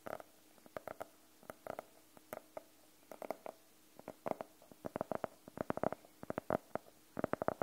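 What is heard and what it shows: Fingernails tap and scratch on the cover of a closed, navy faux-leather hardcover notebook. Many short, dry clicks come in irregular bursts, each with a hollow midrange tone and almost no ring. Faint scratchy texture sits between the taps.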